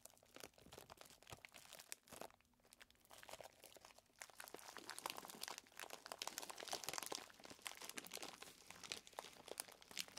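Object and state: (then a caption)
Plastic zip bag of chocolate chips. A clear plastic zip bag full of small chocolate chips is held and squeezed between the fingers, then set down. Quiet, dense, bright crinkling and crunching of the plastic and the chips shifting inside builds into a steady stream of sharp crackles.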